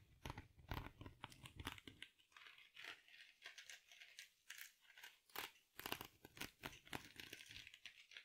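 A small rectangular soft foam sponge wrapped in sparkly silver mesh is held in both hands close to the mic, squeezed and scratched with long nails. Dense, bright crinkling and crunchy scratches come in quick bursts. Heavier low squeezes come early, and lighter, airier crinkles follow.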